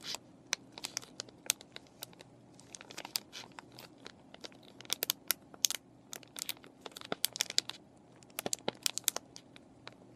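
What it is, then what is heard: Plastic paintbrush packaging being scratched and crinkled. Fingernails scratch and fingers crinkle a clear plastic and cardboard paintbrush package with the brushes inside. Dense, sharp, bright crackles and clicks come in quick irregular bursts over a faint, steady low hum. The crinkles stay quiet overall, with brief peaks that cut off almost instantly.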